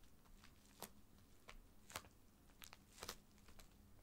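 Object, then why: Filled plastic mailer bag. Fingers rub and scratch a filled white plastic poly mailer bag lying flat, with one hand at the end, making soft crinkling. Quiet, irregular bursts of bright, crackly rustle stand out over a low, steady background.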